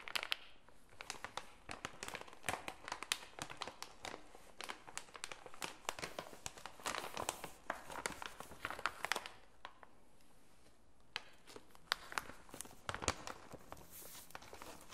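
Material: Plastic foil.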